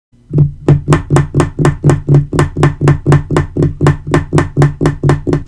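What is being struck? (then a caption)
Laminate-covered table top. Fingertips and short nails tap, scratch and rub the large, flat, thin dark wood-grain laminate top of a portable adjustable table. Twenty-one dull, low knocks around 145 Hz land in a steady rhythm of about two per second, each with a faint bright edge. Every knock dies away almost at once, with no ring.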